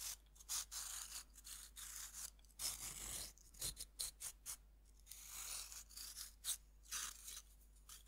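A metal knife scrapes the surface of a fist-sized, solid pink pressed-powder bath bomb held in the hand, and the powder falls onto a wooden board. The result is a quiet run of short, dry, bright scraping and crumbling strokes separated by brief pauses, with almost no low end and no ring after each stroke.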